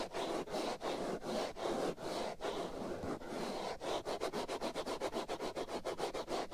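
Fingernails scratch and rub the black foam windscreen over the right ear of a binaural microphone, producing a dense, bright rustling scratch. Long, slow strokes in the first few seconds give way to quicker, shorter scrapes that pulse at a steady pace until the end.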